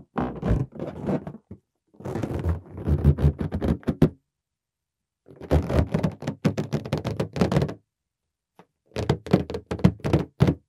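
Fingertips tap and knock on a large, inflated green latex balloon that is hollow and air-filled. They make quick, dull, low thunks that die away almost at once, in four rapid bursts separated by short pauses.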